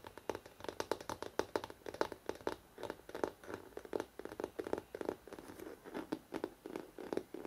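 Fingertips and nails tap fast on the upper part of the glossy paper cover of a large, solid hardcover photo book. The result is a rapid, uneven stream of short, dry taps with a mid-range knock and light, bright clicks. No ring follows each tap.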